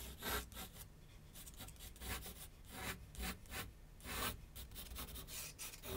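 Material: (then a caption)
Paper. A graphite pencil makes rapid back-and-forth scratching strokes on a large flat sheet of white paper resting on a board on an easel. The result is a run of dry, raspy bursts that sweep up into bright hiss, with a faint low hum underneath.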